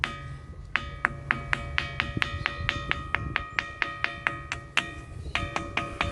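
Giant volcanic rocks, the remains of cooled magma, on a beach of "singing stones" are struck with another stone in a quick series of 23 sharp taps. Each tap rings out with a hollow, metallic, bell-like tone, some notes deeper and others higher, centered near 1.7 kHz. A steady low background noise runs underneath.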